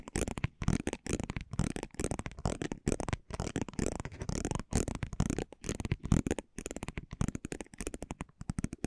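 A spiked metal pinwheel roller is rolled and scratched across the face of a thin, flat cardboard basketball trading card held in one hand. It makes rapid, dry, crackling clicks in uneven bursts with brief pauses between them. The sound is low-weighted and the clicks stop dead with no ring.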